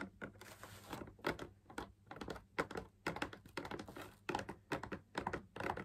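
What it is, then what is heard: Fabric-laminated drum lamp shade. Fingers tap rapidly on the outer rim and wall of a hollow, perforated, fabric-laminated drum lamp shade held up in the air. The result is a quick, uneven patter of soft, dry, hollow taps with a midrange tone that die away almost instantly, over a faint steady low hum.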